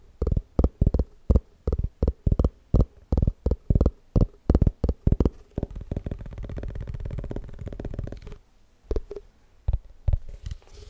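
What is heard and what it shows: Fingertips tap the side and rim of an empty, hollow, white round plastic tupperware container, its open side facing out. Quick, dull, low thumps come in uneven bursts, then blur into a dense, rumbling flurry of rapid tapping before thinning back to a few scattered taps. Each hit dies away almost instantly, with no ring.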